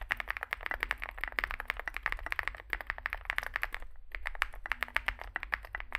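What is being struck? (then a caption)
Mechanical keyboard with plastic keycaps. Fingertips type continuously on a small 65% Zoom65 mechanical keyboard with a dark case and white and grey plastic keycaps. The result is a rapid stream of short, crisp clacks centered around 1.8 kHz with bright upper edges, over a faint low hum, with a brief pause near the four-second mark.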